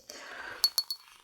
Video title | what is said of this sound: Retour des encombrants #113 - Bulky Items - Recherche des Trésors ! - Enormément de VAISSELLE ! | C'est du verre, c'est pas du cristal.